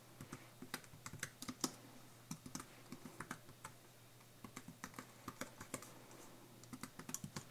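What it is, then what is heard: Plastic and aluminium computer keyboard being typed on. Fingertips type in a continuous tapping pattern on a slim white Apple-style computer keyboard, with plastic keys on an aluminium base, lying flat on a tablecloth-covered desk. Short, dry clicks with bright edges come in quick, irregular bursts, with a few brief pauses, over a faint steady low hum. The typing stays quiet and close throughout.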